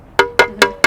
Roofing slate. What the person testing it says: It's got that sharp sound, whereas if there's a crack somewhere within it, there'll be a dull resonance.